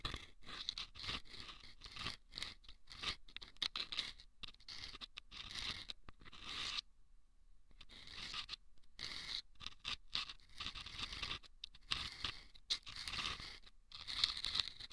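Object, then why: Rolled sandpaper tube scratched with wooden toothpicks. Wooden toothpicks scratch the sandpaper inside two small hollow rolled sandpaper tubes placed over microphone ears. The result is a rapid series of dry, bright, gritty scrapes and crunches, with a brief quieter lull partway through before the scratching resumes.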